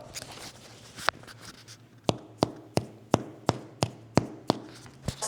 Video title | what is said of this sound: 4 Easy Homemade Breads You’ll Actually Want to Bake | You're listening for something that sounds hollow. That's the sound you're looking for.